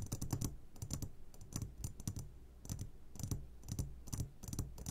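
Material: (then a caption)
Glass. Fingertips tap on the sides of an upside-down clear glass jar full of hard candies, producing quick, clustered clicks with bright high ticks over a low steady hum. The taps come in short irregular bursts, each dying away almost instantly.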